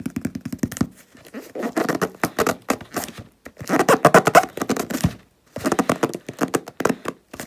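Fingertips and nails tap and scratch the paper label on a medium hollow cardboard shipping box lying on a wooden table. Rapid, dry, papery taps and scratchy bursts come in clusters with brief pauses, each hit short with almost no ring and a hollow midrange tone.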